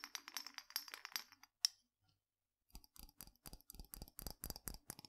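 Fingernails tap quickly on the glass lid and sides of a small clear glass spice jar with a hinged glass-and-metal clip lid, partly filled with spice. The bright, dry clicks come in dense bursts, with a sharp lone tap near the middle, a brief pause, and then a steadier run of fuller taps with more low thump.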